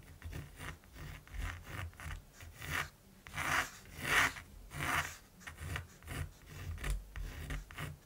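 A mechanical pencil scratches strokes across the textured surface of a large flat primed canvas while drawing a raven. About fourteen dry, rasping strokes come in an uneven rhythm, with the loudest, brightest scrapes in the middle of the clip, over a faint low rumble.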